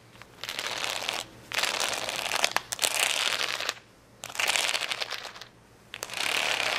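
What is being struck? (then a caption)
Acrylic rhinestone sticker sheet. Long fingernails scratch across the rows of gems on a large, flat plastic rhinestone sticker sheet of rainbow acrylic stones. Four bright, dense, raspy scratching passages are separated by short quiet gaps. The sound is crackly and mostly high, with almost no low end.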